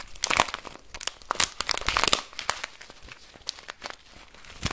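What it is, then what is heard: Plastic bag of rice. A full clear plastic bag of brown rice with a paper label is squeezed, crinkled and shaken in one hand. The result is bright, crackling plastic crinkles in irregular bursts, with dry rustling from the rice grains shifting inside. There is little low end, and each burst stops short with no ring.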